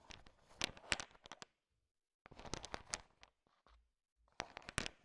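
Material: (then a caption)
Sugar shell. A thin wooden stick stirs a large pile of small, solid, sugar-shell-coated chocolate M&Ms, so the candies click against each other. Three bursts of bright, crisp clicking and rattling are separated by short silences.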